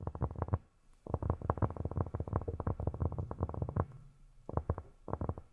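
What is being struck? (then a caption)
Cork surface tapped with silicone fingertip pads. Fingertips fitted with silicone rubber pads tap rapidly on cork, making soft, dull, low thuds that stop almost instantly with no ring. A short flurry of taps gives way to a brief pause, then a long steady run of quick taps, followed by two shorter bursts near the end.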